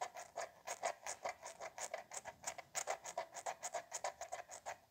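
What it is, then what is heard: Plastic spray bottle. A small, hollow white plastic spray bottle, held in one hand near the chest, is tapped and clicked on its pump cap and neck by the fingertips and nails of the other hand. About 28 quick, dry, hollow clicks follow in an even, rapid rhythm, each with a mid-pitched plastic knock around 670 Hz and a bright, crisp tick on top. Each click dies away almost at once.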